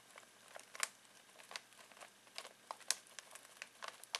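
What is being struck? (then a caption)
Foil-plastic snack bag. Fingertips scratch and crinkle a full foil-plastic snack bag of pistachios. The result is a quiet, irregular series of short, bright crackles and rustles with no low end. The louder pops stand apart from the steady faint hiss.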